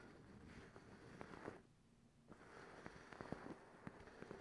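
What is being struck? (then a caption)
Cotton terry towel. A folded, soft and bunched white fluffy cotton terry cloth towel is held up and scratched with long acrylic nails using both hands. The result is a steady, quiet, textured rustling scratch, dotted with short, sharp nail clicks. The scratching drops to a hush for a moment midway, then resumes.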